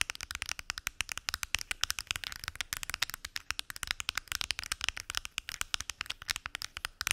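Long acrylic nails tap rapidly across the closed lids of a large translucent purple plastic weekly pill organizer with many small hollow compartments. The result is a dense, continuous stream of sharp, bright, hollow clicks that stop instantly, with almost no low end.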